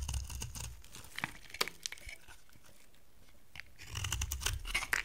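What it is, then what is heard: Dry soap bar being scraped. A utility knife blade scrapes a solid, hand-sized block of dry amber-brown soap. Dense, crunchy scraping and tearing bursts come at the start, a few sharp bright clicks follow, and after a quiet stretch in the middle the scraping returns more heavily, with a low rumble beneath the crisp high shaving sounds.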